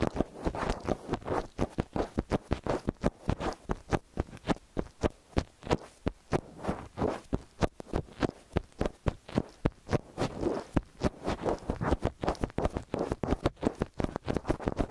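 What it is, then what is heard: Metal stereo microphone. Long nails tap and scratch the angled chrome capsule housings of a metal stereo X/Y microphone. The result is a rapid, steady stream of short, dry, close-up taps with a low thump and scratchy rustling between them.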